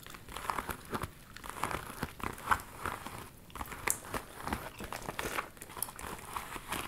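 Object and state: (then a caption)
Faux leather handbag. A small, hollow hot-pink metallic faux leather handbag with a gathered front flap is held in the hands and scratched and tapped with long metallic nails. Dense crinkly scratching is heard throughout, broken by many short, sharp taps that stop almost instantly. The overall sound is quiet, dry and fairly bright.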